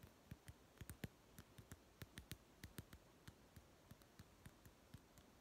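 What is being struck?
Small plastic toy food tin.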